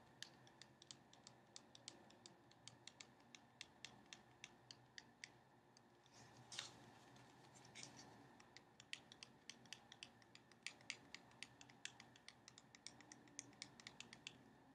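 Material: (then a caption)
Cardboard. A small cardboard box full of playing cards is held and tilted in the hands while long painted nails tap and scratch across it. Dozens of crisp, bright clicks come in a steady, uneven rhythm, with brief softer scratching rubs in between. The sounds are quiet, dry and close, with almost no low end.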